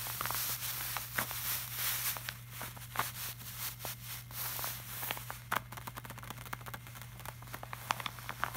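Fingertips of both hands tap and rub across the surface of a flat, glossy laminated art print. Many quick, dry taps stand out over a soft, bright rubbing hiss, with a steady low hum underneath throughout.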